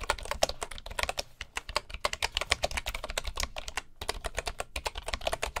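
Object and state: Bamboo wooden keyboard being typed on.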